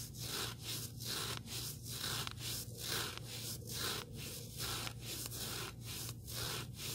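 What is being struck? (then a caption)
Abrasive foam sanding sponge block. A small, solid, rectangular black sanding sponge block with an abrasive surface is held in both hands while fingertips and nails scratch and rub along it. The result is a steady series of dry, bright, hissy scratching strokes, roughly one per second, over a low, constant hum.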